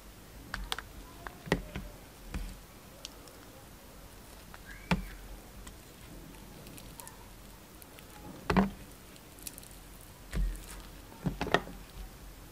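A utility knife slices and scrapes the surface of a translucent orange glycerin soap bar with yellow pieces in it. Soft, scattered cutting and scraping sounds pop out of a quiet background, each brief and dull with little ring.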